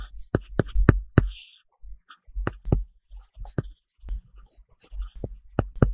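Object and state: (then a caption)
Stylus taps on a tablet screen with matte film. A plastic Apple Pencil tip is drawn in short coloring strokes across a large iPad glass screen covered with a solid matte paper-texture plastic film. It gives scratchy writing sounds and light, quick taps with dull low thumps and brief bright clicks, in an uneven rhythm broken by short pauses.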